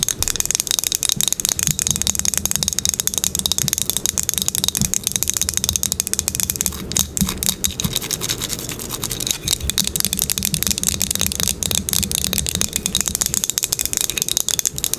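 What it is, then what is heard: Glazed ceramic coaster. A small, solid square glazed ceramic coaster with a green crackle glaze top is held in the hand and tapped and scratched fast with long acrylic nails. The result is a dense, continuous stream of sharp, bright clicks and scratchy rasps with almost no ring, over a faint low hum.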